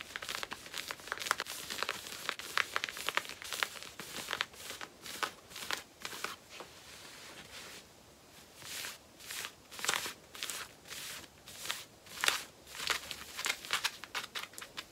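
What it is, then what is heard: Denim jeans scratched with fingernails. Long painted nails scratch worn black cotton denim jeans, working over the back pockets and the waistband with its label. Quick, bright, raspy scratching strokes come thick and fast at first, ease into a soft steady rub around the middle, then return as slower, evenly spaced swipes.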